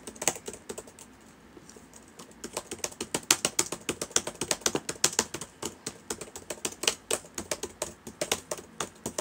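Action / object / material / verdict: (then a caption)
tap / plastic laptop keyboard / plastic / none. Fingertips of both hands type on the plastic keys of a black laptop keyboard. Quick, bright, dry clicks come in an irregular run, with a brief lighter stretch early on before the typing picks up again. Each keystroke dies away almost at once, with very little low end.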